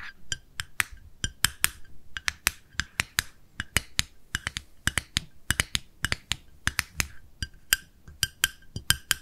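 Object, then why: Small plastic jar with lid. A small, round, pale pink plastic cosmetic jar with a lid is held in the hands and tapped with long nails on its lid and side. It gives a quick, uneven series of about 37 sharp, bright clicks, each dying away almost at once, with a faint hollow ring in the upper mids and highs.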